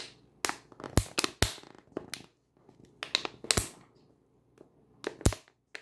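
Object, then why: Plastic water bottle. A 500 ml clear plastic water bottle, full of water, is held in the hand and squeezed and crunched with the fingers and long nails. Sharp, crackling crunches and clicks come in uneven bursts with short pauses between them.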